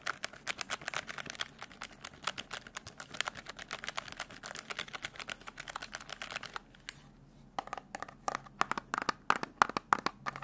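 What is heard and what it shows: Fingertips quickly press and tap the keys of a black plastic desk calculator, then tap the edge of its case. The result is a rapid, irregular run of dry, bright plastic clicks with no ring, broken by a brief pause about two-thirds of the way through before the tapping resumes.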